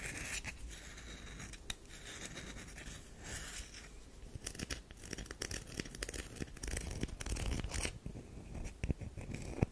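Long nails scratch the face and edge of a solid oval tan DURU bar soap with an embossed logo. A steady, dry, gritty rasp of scratching and scraping is broken by short, sharp clicks that grow a little louder near the end.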